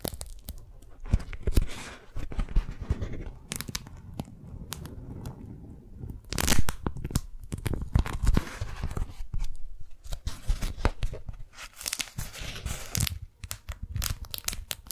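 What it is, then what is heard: Beeswax-coated cotton food wrap. A pink strawberry-print beeswax-coated cotton food wrap is unfolded, peeled and crinkled by fingers. The sticky sheet gives dense, close crackling and tearing-like peeling sounds with a heavy low-end rumble, punctuated by sharper bright crinkles.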